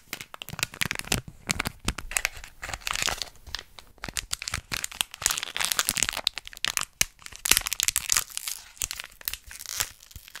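A small printed plastic foil snack packet is held up close and crinkled and squeezed with fingertips and long nails. A dense run of bright, crackling crinkles and sharp snaps fills the clip, with very little low end.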